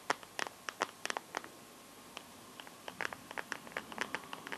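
Fingertips and nails scratch and tap the back of a smartphone in a translucent teal plastic case, held in both hands. About twenty sharp, dry clicks in uneven clusters with almost no ring, and some light scratchy patter between them. A faint steady tone near 1 kHz runs underneath.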